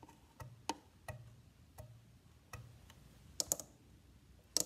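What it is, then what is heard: Wooden violin body tapped. Fingertips tap a hollow, varnished wooden violin body near the bridge area, then on the side rib, and finally scratch across the back, with no bowing. Quiet, dry, bright ticks land at irregular intervals with almost no ring. The closing bursts turn louder and scratchier, with high hiss.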